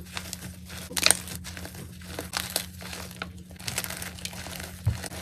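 Both hands squeeze and crumble chunks of a white gym chalk block (magnesium carbonate), crushing the broken pieces and powder by hand inside a container. The result is a series of dry, bright crunching and crinkling bursts, loudest near the start, over a faint steady low hum.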